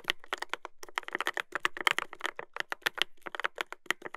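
Fingertips type continuously on a Dolphin 2021 mechanical keyboard with a brass plate and plastic keycaps. A rapid, steady run of short, crisp clacks sounds with bright upper tones and almost no low end. Each keystroke stops dead with no ring.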